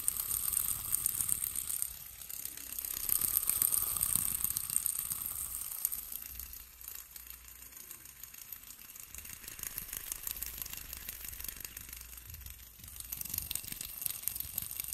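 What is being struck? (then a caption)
Plastic fidget spinner with metal bearings. A small, solid yellow plastic fidget spinner with metal bearings is held between the fingers and repeatedly flicked with the fingertips to spin it. It gives a fast, bright, ratcheting whir of dense, crisp clicks, louder in bursts near the start and again at the end.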